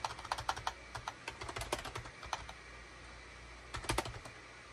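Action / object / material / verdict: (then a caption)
tap / plastic computer keyboard / plastic / none. Fingertips of both hands type rapidly on a full-size gray, cream and orange SHIPADOO K600 wired USB plastic keyboard with a hollow plastic housing, resting on a desk mat. Quick, bright, hollow plastic clacks come in a dense run of about eighteen keystrokes, each dying away almost instantly. A brief quiet pause follows before a final short burst of typing.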